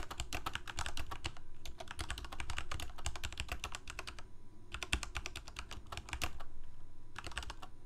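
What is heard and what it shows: Fingertips of both hands type continuously on a full-size black plastic Corsair K68 gaming keyboard with backlit keycaps, Cherry MX Red switches and a hollow plastic case. Rapid, bright key clacks come in bursts, with short pauses just after four seconds and again near seven seconds, over a steady low hum. Each click dies away almost instantly.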